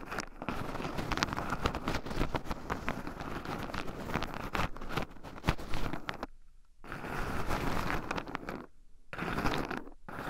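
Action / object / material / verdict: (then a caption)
scrape / shelled pine nuts in a wooden bowl / pine nuts / none. Two wooden chopsticks stir and poke through shelled pine nuts in a small round wooden bowl, with two black microphone cables running over the rim. Dense, rapid clicking, rattling and crunching of the loose nuts stays mostly low, with brief quiet gaps near six and nine seconds before the stirring resumes.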